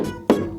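A cheap $15 store-bought mirror, assumed to be plastic because it warped when pushed, is tapped twice, giving short, bright knocks with a ringing tone around 400 Hz that dies away within a fraction of a second. The tap sound shows the mirror is glass, not plastic, and it proves more reflective than expected.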